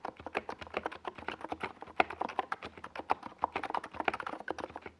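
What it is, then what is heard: Plastic mechanical keyboard being typed on. Fingertips of both hands type fast across a compact 68-key NiZ Plum Atom 68 mechanical keyboard with a white plastic case and purple and yellow Domikey Gas Attack SA plastic keycaps, resting on a desk pad. A rapid, steady stream of short, crisp plastic clacks is heard, each dying away almost instantly, with a mid-pitched tone around 730 Hz and occasional louder keystrokes standing out.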